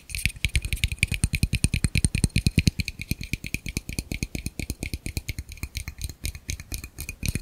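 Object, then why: Plastic camera lens rear cap. A small, hollow, empty black plastic camera lens rear cap is held in one hand and tapped rhythmically with the fingertips of the other hand close to the microphone. Around sixty quick, dry taps sound as hollow, low thumps with a light clicky edge. They fall in a fast, slightly uneven rhythm, each dying away almost instantly.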